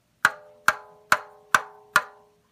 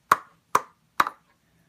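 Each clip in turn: First: tightly stretched balloon drum head. Second: loose balloon drum head.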